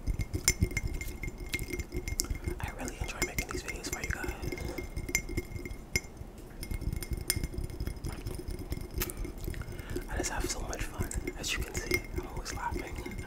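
A glass tumbler is tapped quickly and aggressively for ASMR, producing a steady stream of rapid, short glassy clinks and chinks. Each tap rings high and bright but dies away almost at once, over a dense, low thumping underlayer.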